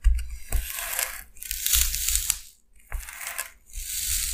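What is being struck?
Styrofoam sheet.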